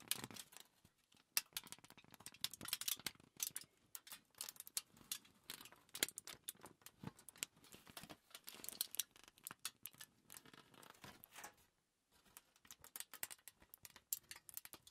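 Fingers fold and crinkle the edge of a crumpled, thin aluminium foil sheet, making a dense run of bright, crisp crackles and sharp snaps with almost no low end. The crinkling goes on steadily, pausing briefly near the twelve-second mark before starting again.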